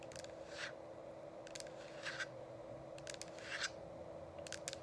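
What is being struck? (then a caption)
Plastic essential oil diffuser. Long acrylic nails on both hands tap and click against the sides of a hollow, frosted plastic dome essential oil diffuser with a changing light. Quick clusters of sharp, bright clicks alternate with softer brushing scrapes, all over a steady low hum, and each click dies away almost instantly.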